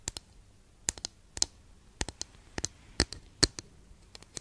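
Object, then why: Flat wooden incense holder. Long nail tips tap a long, flat, thin, solid wooden incense holder held diagonally. About sixteen short, dry, bright clicks come in irregular pairs and clusters, each dying away almost instantly over a quiet background.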